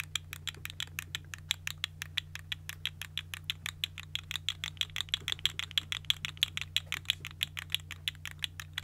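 A small, hollow, multicolored segmented plastic fidget slug toy is held in one hand and wiggled and squeezed by fingertips with long nails, making its segments click and rattle. About 55 short, dry, bright clicks come in a quick, uneven stream, centered near 3.4 kHz, over a steady low hum.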